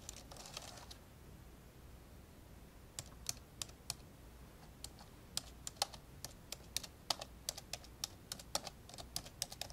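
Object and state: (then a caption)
Plastic laptop keyboard being typed on. Fingertips of both hands type on the keyboard of an old black plastic laptop with a hollow body, and the right hand also briefly presses near the touchpad buttons. After a soft, bright rustle at the start and a quiet pause, irregular runs of sharp, short, bright key clicks follow over a faint low hum.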